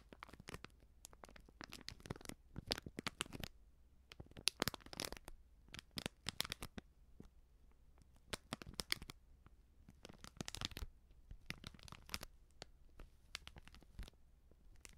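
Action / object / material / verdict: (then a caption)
scrape / small foil-plastic sachet of powder / plastic foil / none. A small sealed plastic-foil baking soda sachet, filled, is held in both hands and scratched with long nails. Quick, bright crinkling and scratching clicks come in dense bursts with short quiet gaps, each sound dying away almost instantly.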